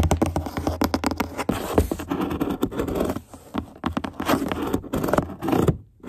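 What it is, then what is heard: Cardboard box being scratched. Long nails scratch the printed side of a large, hollow corrugated cardboard box in quick, uneven strokes. The result is a dense, papery scraping with a low, hollow resonance beneath it. The scratching pauses briefly around the middle, resumes, and drops to near silence at the end.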